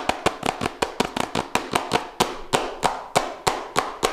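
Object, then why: Small cardboard smartphone box. Fingertips and nails tap fast and aggressively on a small, hollow Redmi Note 7 Pro cardboard smartphone box held close to the mic. The result is a rapid, uneven run of short, dry, papery knocks with a hollow mid-range tone and bright clicky edges. Each hit stops almost instantly, with very little low end.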